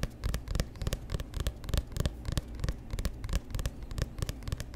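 Fingertips and nails tap and scratch the front of a solid, hand-sized paperback book with a glossy orange-black cover, held close to the mic. Quick, irregular taps land as dull, low thumps with short bright clicks on top, mixed with soft scratchy rustling between them. Each tap dies away almost at once.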